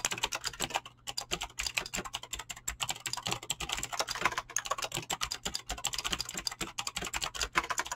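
Fingertips with short painted nails type fast on a full-size mechanical keyboard with Razer green clicky switches and pink-blue PBT plastic keycaps, resting on a desk. A rapid, steady stream of sharp, bright clicks and clacks fills the clip, each keystroke dying away almost instantly over a faint low hum.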